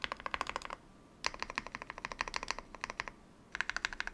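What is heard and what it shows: Fingertips press and tap the keys of a modded full-size Yunzii YZ98 mechanical keyboard with plastic keycaps, picked up by a microphone. Crisp, bright clacks, about 26 in all, come in three quick bursts of typing separated by short pauses. Each keystroke dies away almost instantly, with little low-end thump.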